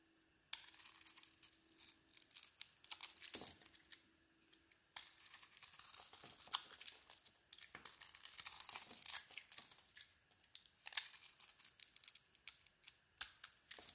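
A solid zebra-striped soap bar with a white core, held in the hand, is shaved with a metal box-cutter blade. Crisp, bright scraping and crinkly tearing strokes come in dense bursts, with a short quiet pause near the middle and a faint steady hum under the opening seconds.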